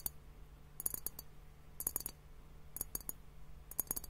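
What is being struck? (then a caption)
Glass liquid hourglass timer. Fingertips and nails tap a clear glass hourglass liquid timer filled with pink liquid and foam, which is tilted slightly. Quick bright clicks come in short clusters roughly once a second, each dying away almost instantly. A steady low hum sits underneath the taps.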